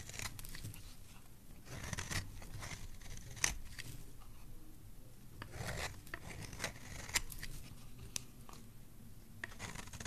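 A metal blade shaves a solid oval green bar of soap held in the hand into long curls. Soft, irregular scraping and cutting strokes give a crisp, bright rasp over a low rustling background, with a few sharper clicks standing out at moments. The overall sound is quiet and close.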